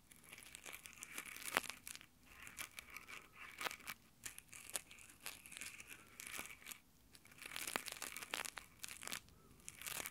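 Both hands in rough nylon exfoliating gloves rub their fingertips across the mic grille on top of a small handheld Tascam recorder. The result is a close, quiet stream of bright, crackly scratching and rubbing with sharp bursts that come and go. There is almost no low end.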